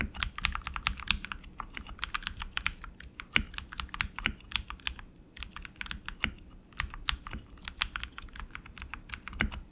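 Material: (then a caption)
Plastic. Both hands type continuously with their fingertips on a tenkeyless RGB mechanical keyboard with tactile switches, plastic keycaps and an aluminum frame. A rapid, uneven stream of short, bright clicks rides over a soft low thump from each keystroke, and every press dies away almost instantly.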